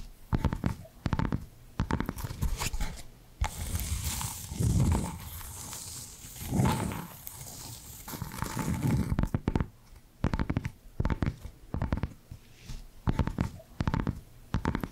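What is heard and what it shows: Long black nails tap and scratch on the face and edges of a small, flat, square cork coaster with a barcode sticker. Bursts of quick, dull, low-heavy taps frame a stretch of steady, brighter scratching in the middle, and each tap dies away almost instantly.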